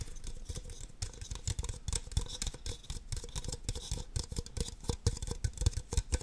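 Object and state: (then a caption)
Empty plastic cups. Long nails tap and scratch the sides and bases of two identical empty red plastic party cups. Quick, dull, hollow taps with a low thump run almost continuously, layered over a dry, bright scratching hiss, and each tap dies out instantly.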